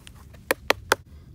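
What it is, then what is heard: Hollow-sounding granite slab. Three sharp knocks on the top piece of a granite outcrop peppered with quartz crystal give short, bright, hollow-sounding taps with almost no ring. The slab sounds hollow, and a chunk of it comes off right after.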